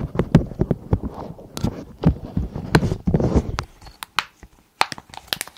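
Long acrylic nails scratch and tap across the raised bubbles of a long, hollow, pastel silicone pop-it style pencil case held over the microphones. Quick, dull, low taps mix with soft, muffled scratching, and each tap dies away almost at once. A few brighter clicks stand out in the sparser taps near the end.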